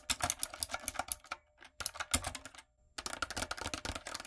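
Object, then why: Mechanical keyboard with plastic keycaps. Long nails and fingertips type on a retro typewriter-style backlit mechanical keyboard with round plastic keycaps. Fast runs of sharp, bright clicks and clacks come in three bursts separated by brief pauses. Each keystroke is crisp and dies away almost instantly.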